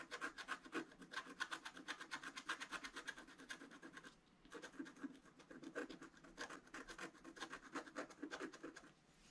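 A wooden stylus scratches fine lines into the coating of a flat black-coated scratch art card lying on a table while the other hand holds the card steady. Quick, dry, bright scratching strokes repeat in a rapid, rhythmic run, pause briefly just after four seconds, then resume and fade toward the end.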